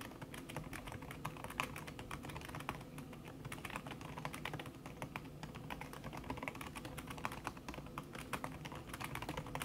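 A thin backlit aluminium keyboard with plastic keys under a red silicone skin is typed on fast with the fingertips and long red-painted nails. It makes a dense, continuous stream of soft, muted tapping clicks with short, dampened attacks and a low, steady body beneath them.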